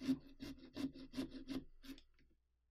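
A small orange-handled carving saw is worked back and forth through the rind of a large, hollow, carved pumpkin along the mouth outline, while the other hand steadies it. The result is a steady rhythm of raspy, scratchy sawing strokes with a low tonal buzz under each pass. The strokes thin out and fade to near silence by the end.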